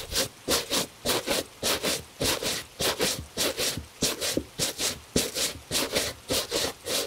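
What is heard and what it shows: A bristle brush scrubs the upper of a hollow, tan leather cap-toe dress shoe, a high-quality Italian shoe held by a gloved hand. Quick, fairly even back-and-forth strokes make bright, hissing scratches with a soft mid-range body, each separated by a brief pause.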